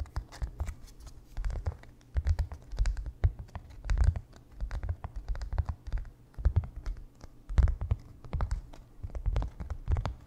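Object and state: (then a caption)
Stretched canvas panel. A small white painter's canvas stretched on a wooden frame with a hollow back is tapped and scratched quickly with fingertips and nails. The result is a dense run of dull, low, hollow thumps with brief scratchy clicks on top, each dying away almost instantly.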